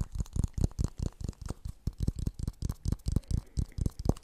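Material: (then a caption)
Plastic. A medium-sized, hollow, empty blue plastic kitchen funnel is held near the microphone and tapped and scratched on its outer surface with fingertips and nails. About 18 quick, dull, low thumps come in a steady rhythm, each dying away almost at once, with a faint bright scratchy texture between them.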